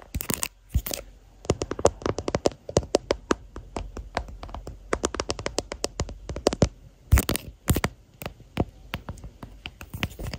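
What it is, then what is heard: Hard plastic phone case. Long natural nails and fingertips tap and scratch the back of a smartphone's clear hard plastic case with a white floral print, near the camera bump; the phone is seen in a mirror and is also doing the recording. Rapid, sharp, dry clicks with almost no ring run throughout, broken by short, rough bursts of scratching near the start and around the seven-second mark.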